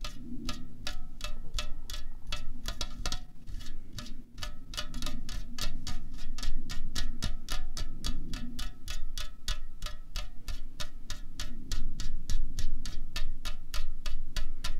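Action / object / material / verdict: tap / aluminium drink can / aluminium / none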